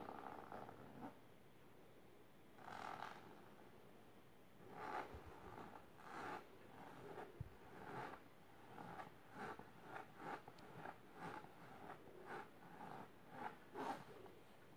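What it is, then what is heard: Fabric-covered storage box being scratched. Long silver nails scratch back and forth across the fabric top of a large pink patterned fabric-covered box or ottoman. The result is a quiet run of soft, raspy, midrange scratching strokes that come in quickening bursts over a low, steady hiss.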